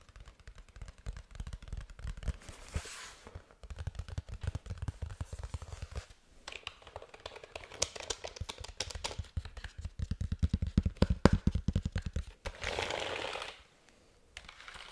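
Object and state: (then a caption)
Plastic keyboard underside. Fingertips and nails tap and scratch the flat back of a hollow black plastic keyboard held upside down. Dense runs of quick, dry, hollow taps with a low body alternate with bursts of bright, hissy scratching, briefly pausing near the end.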